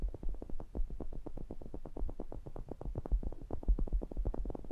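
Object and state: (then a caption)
Condenser microphone grille being tapped. Fingertips tap and rub the mesh grilles and metal rims of a pair of small cylindrical metal pencil condenser microphones. The result is a rapid, steady run of soft, boomy thumps with a deep low-end rumble and short muffled clicks, each dying away almost at once.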